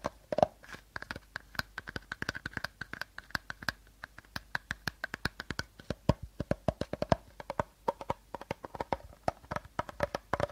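Short fingernails tap and scratch along an empty, hollow, hand-sized clear plastic bottle and its teal plastic cap. About sixty quick, dry clicks come in an uneven rhythm, each dying away almost at once, with a faint hollow ring near 620 Hz and light scratchy texture between the taps.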